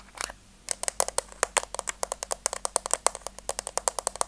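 Long teal nails tap and scratch the top of a hollow, rectangular pink plastic case with a white rim, held flat in one hand. After a brief scratchy start, a quick, steady run of sharp, dry clicks follows, each with bright high detail and almost no ring or low end.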